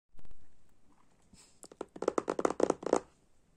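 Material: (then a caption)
Cardboard. Fingertips and short nails of both hands scratch and tap a small, hollow, rectangular glossy laminated cardboard box holding an oracle card deck, lying flat on purple fabric. A soft brushing scratch opens, then eight quick, dry, hollow taps land in a quickening run, each with a mid-toned knock and almost no ring.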